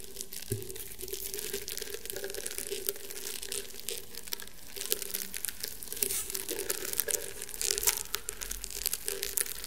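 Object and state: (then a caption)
Woven rattan mat. Painted fingernails scratch across the woven fibres of a flat, round woven rattan table mat. The result is a dense, continuous stream of dry, crackly scratching with bright, crinkly edges. A steady low-mid hum runs underneath throughout.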